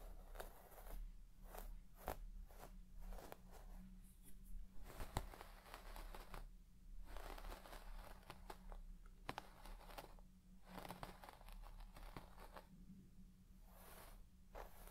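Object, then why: Shag textile carpet and plastic comb. A white plastic comb scratches through the deep, soft pile of a large red shaggy textile carpet while the other hand rests on the carpet. Repeated bursts of crunchy, bright rustling and scratching come and go over a steady low hum. The strokes stay fairly quiet throughout.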